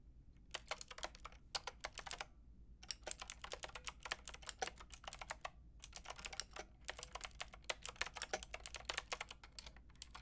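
Fingertips with long red nails rapidly tap the round pink and grey plastic keycaps of a Lofree mechanical keyboard with a white plastic case. Bursts of bright, crisp clicks come in quick runs separated by brief pauses, each click short and dry over a faint low hum.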